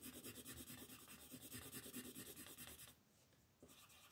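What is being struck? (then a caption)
Colored pencil on a paper coloring page. A yellow wooden colored pencil scratches and rubs across a flat sheet of white paper printed with a monkey, resting on a table, while coloring in the monkey's face with the other hand on the sheet. Quick, rhythmic rasping strokes fill most of the clip with a bright, papery hiss. Near the end they fade to a soft, quiet rub before one last short scratch.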